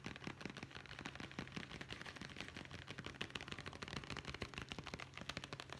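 Fingertips and nails tap rapidly on a small, hollow brown leather zippered pouch held horizontally. The taps form a fast, dense stream of short, dry clicks with bright edges. A steady low hum runs underneath.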